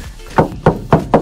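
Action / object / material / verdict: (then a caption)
knock / plastic pontoon barrel / plastic / empty. Four knocks on an empty blue plastic pontoon barrel under a work barge's decking, struck to check whether water has leaked in. Each knock is a short, hollow thunk with a low body near 160 Hz and almost no ring. The barrel is found empty, with no water inside.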